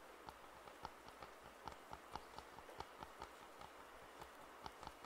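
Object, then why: Plastic over-ear headphone earcups. Fingertips tap and scratch the hollow earcups of white and black plastic over-ear headphones held in both hands. About eleven short, hollow plastic clicks ring with a pitch near 870 Hz, with faint scratching over a steady soft hiss.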